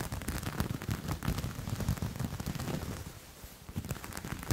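A grey knit fabric with a dotted texture is held up and scratched with nails and fingertips. It makes a dense, low, thumpy scratching with many quick rustles, eases off briefly near the end, then picks back up.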